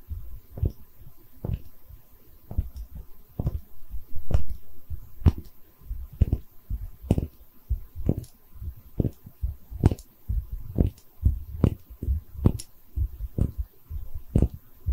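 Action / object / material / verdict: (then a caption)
tap / small porcelain bottle / porcelain / none. A small, hollow, cream-colored textured porcelain liquor bottle is held in both hands while long red nails tap and scratch it. The result is a steady run of short, dull, low taps with brief scratchy rustling between them. Each tap dies out almost at once.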